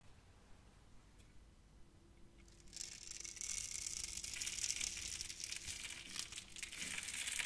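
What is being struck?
Bar of soap cut with a blade.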